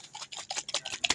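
A capped plastic bottle of acrylic paint mixed with silicone, water and Floetrol is shaken hard to blend it. Quick, bright, wet sloshing bursts follow one another, mostly high-pitched with almost no low end. The mushy slosh shows the pour-paint mix has the intended consistency.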